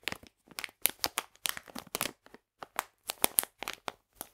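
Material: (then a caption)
Plastic. A full, printed plastic package of polenta is squeezed and crinkled in the hands. It makes a quick series of short, sharp, bright crackling bursts with brief silent gaps between them and no lingering ring.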